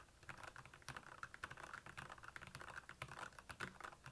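Fingertips of both hands type fast on the plastic keycaps of a black backlit Royal Kludge plastic mechanical keyboard. The result is a quiet, rapid, uneven stream of short, dry clacks centered around 1.5 kHz, each dying away almost instantly, with a soft low thump under the harder strokes.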